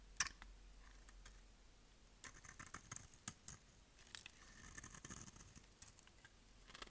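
The edge of a solid, rectangular, pale yellow dry bar of soap, held in hand, is shaved with a utility knife blade. A sharp snap opens the clip, followed by a series of crisp, bright scraping and cutting strokes with short clicks, over a faint steady hiss.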